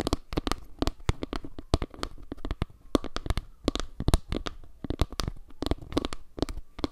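Long nails scratch and tap the underside and edge of a round wooden log-slice panel held edge-on above the microphone. A rapid, uneven run of short, dry taps and clicks with a deep, thumpy low end stops almost instantly, with soft scratching filling the gaps between them.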